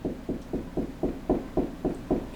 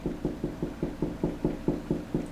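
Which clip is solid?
The second.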